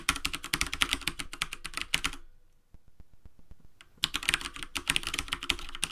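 Bare fingertips with short nails type in rapid taps on a full-size black plastic desktop keyboard with hollow keycaps, resting on a wooden desk. Dense, bright, clicky keystrokes with a low thud under each key are heard. The typing breaks into a quieter stretch of sparse soft taps in the middle, then resumes at full speed.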